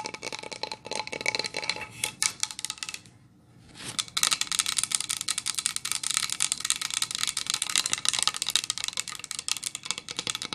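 Long fingernails rapidly tap and scratch across a flat, solid, painted pine plank sign decorated with snowflakes and a deer. The result is a dense stream of bright, dry clicks and scratchy rasps with almost no low end, broken by a brief near-silent pause just past three seconds before the tapping resumes.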